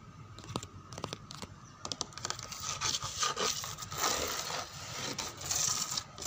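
Long fingernails scratch across a dark brown grained wooden door panel, producing bright, dry scraping and scratchy strokes with crackly, crinkling texture. The strokes come in quick bursts that grow denser and louder midway, over a faint steady tone.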